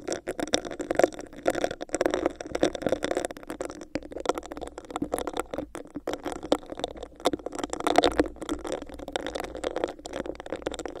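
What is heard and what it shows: Long acrylic nails scratch and tap a hollow, clear, bumpy textured plastic cup that is covering the microphone. The result is a dense, continuous run of quick, dry scratches and clicky taps. Their hollow tone centres in the mids, with very little low end and little ring.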